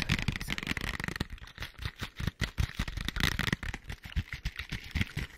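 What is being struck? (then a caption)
Small printed cardboard box. Long white acrylic nails tap and scratch across the flat printed faces of a small, hollow, printed cardboard product box held in front of the mic with both hands. Quick, dry taps land as hollow low thuds, mixed with bright, crackly scraping. Each hit dies almost at once, with no ring.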